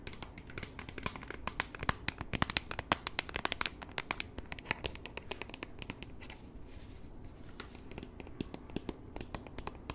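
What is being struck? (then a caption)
Plastic e-reader tablet. Long nails tap and scratch across the plastic back of a flat, solid black Kindle-style e-reader with a phone grip, held in both hands. Dense, rapid clicky taps and scratchy crinkling sounds come in quick irregular bursts, bright and dry with almost no ring, quieting a little midway before picking up again.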